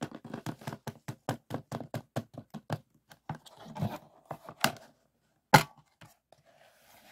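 Fingertips tap on the plastic surface of a closed plastic DVD case resting on a table, back side first and then the front. A quick, even run of dull, hollow taps gives way to softer rustling handling sounds and a few scattered taps, then one sharp, bright click and faint trailing noise.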